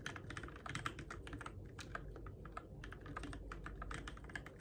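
Fingertips tap the plastic keycaps of a Keychron K6 compact RGB-backlit mechanical keyboard in the dark, producing a quick, steady run of short clacky keystrokes. Each press is crisp and dies away almost at once over a low, constant hum.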